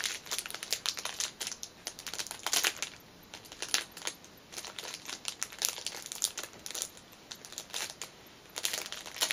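Fingernails tap on the clear cellophane wrapper of a small black fabric pouch lying on a cushion. Bright, crisp crinkles and ticks come in quick irregular bursts with short quiet gaps between them, and each one dies away almost at once.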